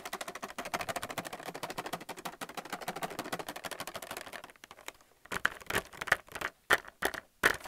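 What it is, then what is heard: Plastic blister pack tapped and scratched. Fingernails tap and scratch quickly across a plastic paint palette still in its blister pack, making a dense run of light, crisp plastic clicks for about four and a half seconds. After a brief pause, a few sharper, louder taps ring out separately.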